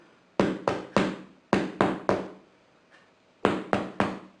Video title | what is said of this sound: Homemade Bread from LEFTOVERS?! | Nice hollow sound to it.